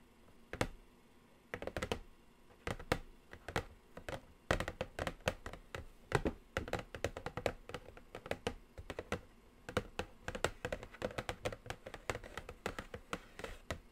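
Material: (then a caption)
Cardboard. Long acrylic nails quickly tap and scratch the top of a large, flat, black glossy Morphe 39S cardboard eyeshadow palette box lying on a table. The result is a rapid, uneven stream of short, dry clicks with brief pauses between bursts. Each tap dies away almost instantly.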